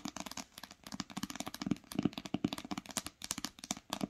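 Long acrylic nails and fingertips tap fast on the top cover of an old green cloth-bound hardcover book lying flat on a blanket. The result is a quick, uneven run of short, dry taps, each with a soft hollow thump around 270 Hz and bright clicky nail edges, with no ring after each tap.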